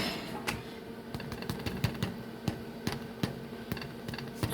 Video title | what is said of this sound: Kids Cook with Ms. Becky - Bread in a Bag! | a little bit of a hollow sound when you tap on it